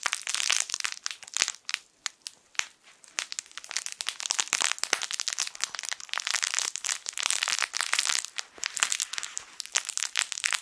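A yellow, sun-shaped plush fabric crinkle toy with crinkle film inside is squeezed and crushed with the fingertips of both hands. Dense, crisp crinkling and crackling fill the clip in quick bursts, bright and papery with almost no low end, pausing briefly before starting again.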